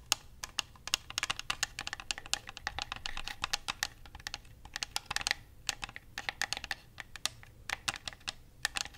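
Fingertips and nails tap and click the buttons and shell of a white plastic Xbox controller, hand-sized and hollow. A rapid, uneven stream of short, dry, bright clicks and taps follows, each dying away instantly with almost no low end.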